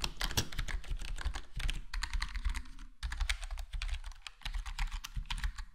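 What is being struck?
Plastic computer keyboard with foam-dampened case.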